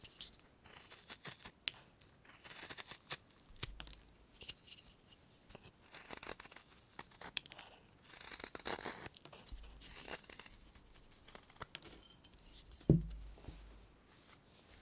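A carving knife whittles a hand-sized, solid, light limewood block held in bare hands, roughing it into a bird shape. Quick, rough, bright scraping and cutting strokes come in irregular bursts as curled shavings peel off. Near the end comes a single louder, low knock.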